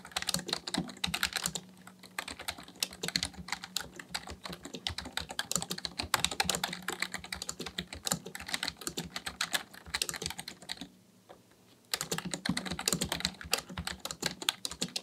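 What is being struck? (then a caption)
Plastic computer keyboard. Both hands type steadily with their fingertips on a black plastic Dell full-size keyboard resting on a desk, tapping its hollow plastic keys. A rapid stream of short, bright, dry clicks and clacks continues with only a brief quiet pause near the eleventh second before the typing resumes.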